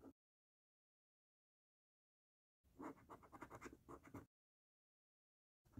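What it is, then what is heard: Paper scratch card being scratched. A coin held in the fingertips scratches the coating off a thin, flat paper lottery scratch card lying on a dark table. A brief scrape is followed by silence, then a quick run of dry, rasping strokes for under two seconds, more silence, and another short scrape at the end. The sound is quiet overall.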